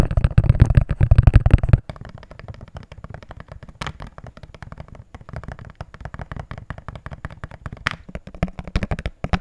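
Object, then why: Small plastic jar. A small, hollow, empty transparent plastic jar is held in the hands and tapped with fingertips and nails on its side and base. It opens with a loud, dense flurry of taps for about two seconds, then continues as quieter, rapid, irregular clicks. Each tap is short and dry, with a deep, hollow low end and almost no ring.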